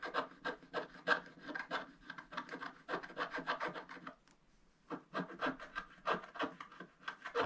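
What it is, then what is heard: Scratch-art paper page being scratched. A wooden stylus scratches the lower part of a black-coated scratch-art paper page lying flat on a table. Quick, irregular strokes give a dry, papery rasp with a bright edge. The strokes pause briefly just past the midpoint, then resume.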